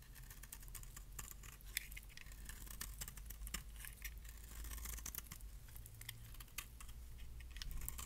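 A metal blade shaves curls and flakes off the edge of a solid, palm-sized orange bar of dry soap held in the hand. Quick, crisp scraping clicks and scratches repeat throughout over a steady low hum, each sharp snap ringing bright and dying away almost instantly.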